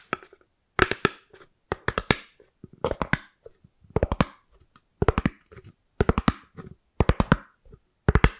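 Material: Styrofoam.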